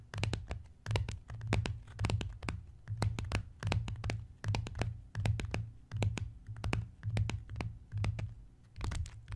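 Both hands tap fast with fingertips and scratch with nails on the cover of a closed brown embossed leather-look notebook lying flat. Quick, dry, bright clicks and scratches ride on soft, low, thumping swells that come and go in a steady repeating rhythm.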